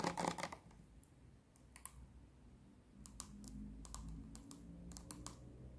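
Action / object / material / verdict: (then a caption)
tap / plastic bottle with cap / plastic / none. Long nails tap and scratch a clear plastic micellar water bottle full of pink liquid, on both its body and its white plastic cap. A dense cluster of bright, clicky taps opens the clip, followed by sparser sharp ticks over a soft, low scratching rustle that ends in a quick run of taps.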